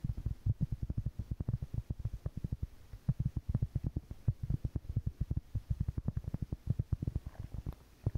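A large, solid, round flat cork board or trivet is held up and tapped and scratched with long painted fingernails. It makes a fast, irregular stream of soft, dull, low thuds with almost no ring, and a faint scratchy texture between the taps.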